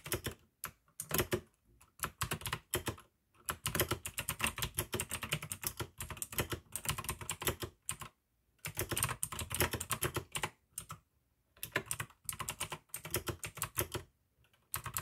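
Continuous two-handed fingertip typing on a full-size pink AUKEY mechanical keyboard with plastic keycaps and clicky blue switches. Bright, sharp key clicks come in fast bursts, separated by short pauses.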